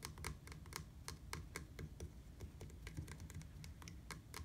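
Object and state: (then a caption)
Plastic bicycle pedal. Fingertips tap quickly on a black, hard plastic, hollow-framed platform bicycle pedal. The result is a rapid run of light, dry clicks with bright, short attacks that die away almost instantly, over a steady low rumble.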